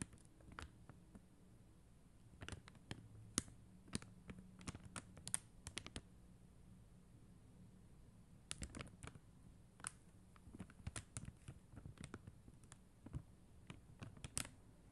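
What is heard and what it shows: Long acrylic nails tap and scratch across a flat sheet of acrylic rhinestone stickers on white backing. Quiet, sharp, bright clicks come in irregular bursts over a low steady hum, with a lull in the middle before the tapping resumes. Each click dies away almost instantly.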